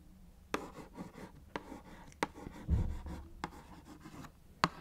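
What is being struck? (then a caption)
Small cardboard box. A small, hollow Kellogg's Fruit Winders cardboard box is tapped and scratched with long nails on its face and top edge. Six sharp, dry taps stand out over soft, low scratching and rubbing, each tap dying away almost instantly with a hollow, muted thud.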